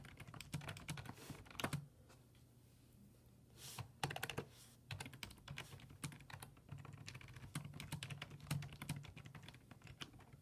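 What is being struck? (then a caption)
Plastic computer keyboard. Fingertips type rapidly on a black plastic full-size desktop keyboard with low-profile keys resting on a wooden desk. The result is bursts of short, sharp clicks with a low thock beneath and brief bright key taps. Typing pauses quietly for about two seconds near the start, then resumes in a steady run.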